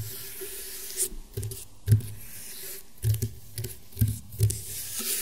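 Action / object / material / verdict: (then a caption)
tap / woven rattan table mat / rattan / none. Fingernail tips tap on the weave of a flat, round woven rattan table mat. Short, dull, low knocks come at an irregular pace, each dying away almost at once over a soft, steady high hiss.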